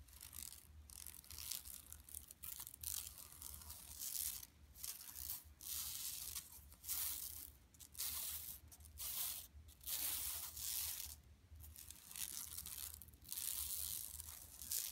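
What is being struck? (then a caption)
Woven plastic mesh bag. Long nails scratch across a flat, empty yellow woven plastic mesh tote bag lying on carpet, sometimes gripping and crinkling the mesh. Bright, dry scratching and crinkling comes in uneven bursts with brief pauses between strokes, over a faint low hum.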